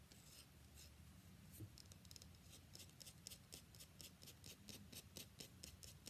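Long fingernails scratch and rub along the face of a solid cream-white rectangular bar of soap held in the other hand. Quiet, dry, bright scratching strokes repeat at an uneven pace, roughly twice a second, over a steady low rumble.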